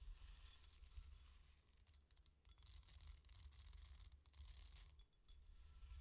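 Fingertips and long nails of both hands rake and stir loose dry green lentils filling a white bowl. The result is a quiet, continuous, bright rustling hiss of shifting grains that swells and eases over about six seconds, with a steady low hum underneath.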